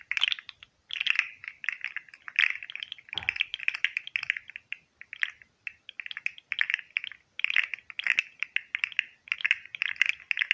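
A hand-sized, hollow, green and white jointed plastic fidget slug is held in one hand while fingertips flex and click its articulated segments beside the mic. Rapid bursts of dry, bright plastic clicks and rattles run throughout, separated by brief pauses, with no ringing after each click.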